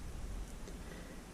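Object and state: Nothing is struck.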